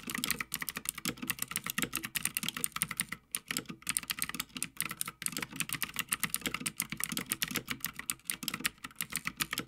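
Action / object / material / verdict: tap / mechanical keyboard, plastic keycaps on metal plate / plastic / none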